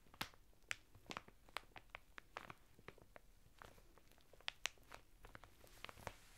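Fingertips and short nails scratch and press a flat bath mitt of coarse woven natural fibre through the thin, crinkly printed plastic packet it is sealed in, as it lies on a table. The result is quiet, bright, dry crackles and crinkles, with sharp, quickly fading snaps scattered over a soft rustling bed.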